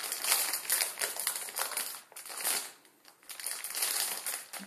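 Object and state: Plastic ramen packet with dry noodles.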